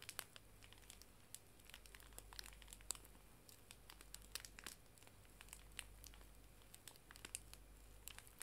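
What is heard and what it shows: A small, full pink pocket tissue pack wrapped in plastic film is held horizontally and squeezed and crinkled between the fingers. It makes a steady run of quiet, bright, crisp crackles that die away almost instantly, over a constant low hum.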